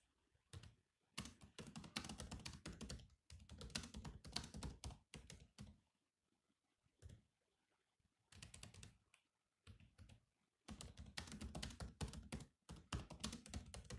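Both hands type with bare fingertips on the black plastic chiclet keys of an open grey metal-bodied laptop, tapping continuously. Rapid clicky keystrokes come in bursts separated by short pauses, with a soft low thump under each tap and quick, dry decay.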